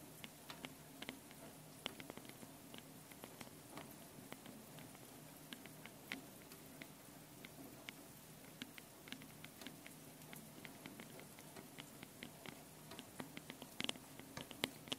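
Long painted nails tap and scratch continuously on the two metal mesh microphone capsules on top of a small handheld Tascam recorder. The sound is a quiet, steady patter of many short, dry clicks and bright scratches over a low hum, with no ring after each tap.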